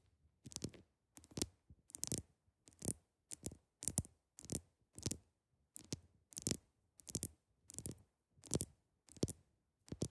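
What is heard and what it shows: The tips of long acrylic nails tap on the top of a large, solid, clear ice block, making quick bursts of sharp, bright clicks and taps. The bursts repeat at a steady rhythm with short silences between them and a soft low thud under each one.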